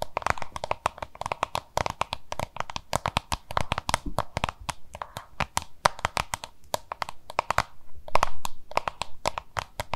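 Long nails rapidly tap and scratch a small, hollow, oval yellow-green plastic lunch box held in both hands. The result is a dense run of short, dry clicks with a hollow knock around 1 kHz, broken by brief scratchy rustles and a few short pauses.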